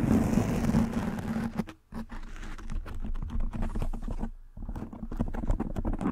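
Fingertips and nails rub and scratch the soft black foam windscreen covering a microphone head. A dense, muffled, bass-heavy rubbing fills the first second and a half, then breaks into quick, uneven scratchy strokes with two brief near-silent pauses, over a steady low hum.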